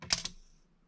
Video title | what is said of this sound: 프린팅에코팁경도계 THL-500 | 둔탁한 소리가 나죠. 이렇게 되면 측정이 되지 않은 거예요.